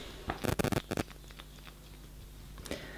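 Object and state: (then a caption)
Empty perfume bottle. A second-hand 30 ml Gucci Bloom perfume bottle with an opaque solid casing is shaken close to the mic, giving a quick burst of hard clicking rattles in the first second and one more near the end. No liquid sloshing is heard, and the bottle sounds empty, which matches spraying and pumping it producing nothing.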